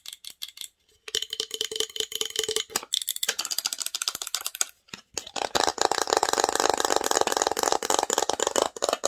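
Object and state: Wooden box tapped and scratched.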